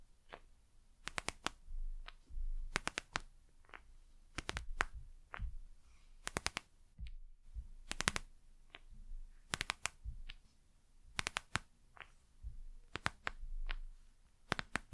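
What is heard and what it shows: Long nails tap and scratch the glossy plastic cover of a gel eye mask with beads inside, held up close to the mic. Clusters of sharp, bright clicks snap out over soft, low rubbing swells and faint shifting of the gel and beads. Each tap stops dead with no ring.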